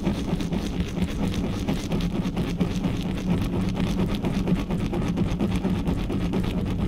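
Fingertips and nails quickly and roughly scratch and rub the bare metal mesh grille of a black studio microphone. The result is a dense, continuous, boomy rustling and scraping, heavy in the low end with a steady low tone underneath. Faint brighter scratches flicker through at an uneven rhythm.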